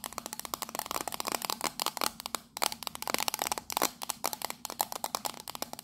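Long nails rapidly tap and scratch the patterned side of a small, hollow, octagonal printed tin tea caddy held in the hands. A quick run of about 30 short, bright metallic clicks with a faint tinny ring near 830 Hz is mixed with dry scraping, and each tap dies away almost instantly.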